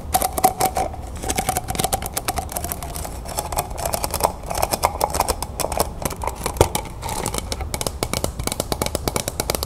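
Long painted nails rapidly tap and scratch a stack of clear, textured plastic cups, hollow and empty and held in the hands. Dense, bright, crisp clicks come in quick uneven bursts, with a faint hollow ring around 700–800 Hz between them. Short scratchy rustles fill the gaps, and each tap dies away almost at once.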